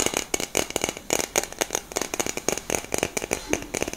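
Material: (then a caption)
Metal. Long nails tap and scratch a hollow black cylindrical metal aerosol deodorant can with a grey cap, held close. The result is a rapid, uneven run of short, bright clicks and scrapes with a faint hollow tone around 390 Hz, each dying away almost instantly with little low end.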